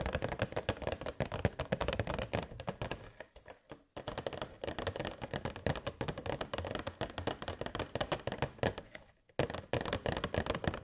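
Long white nails tap rapidly on a hollow, transparent plastic box holding LED fairy lights. The result is a dense stream of short, dry, clicky taps with a hollow body around the low mids. The tapping breaks off briefly twice, once around the four-second mark and again just before the end.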